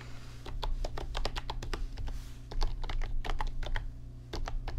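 Fingertips type on an RGB backlit computer keyboard with plastic keys, producing a quick run of short, bright clicks and clacks. A steady low hum sits underneath the typing throughout.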